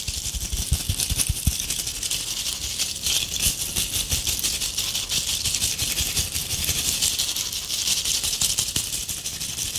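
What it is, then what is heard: Tinsel-covered ornament ball. Long acrylic nails scratch and rake the strands of a palm-sized ornament ball covered in gold metallic tinsel, held up close. The result is a steady, dense, bright crinkling rustle that runs the whole clip, with a few soft low thumps near the start.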